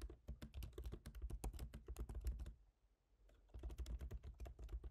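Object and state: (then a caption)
Laptop keyboard, plastic keys. Both hands type rapidly with their fingertips on a MacBook Pro keyboard, black plastic keycaps set in a silver aluminum body. It makes a dense run of soft, low-thudding taps with bright clicky edges. The typing stops briefly just before the third second, then resumes at the same quick pace.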